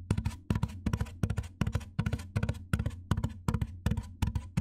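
Fingernails tap and scratch along the top edge of a large, white, hollow styrofoam box. Quick clusters of dry taps fall in a loose, uneven rhythm, each with a low hollow thump and short scratchy, bright detail that dies away almost at once.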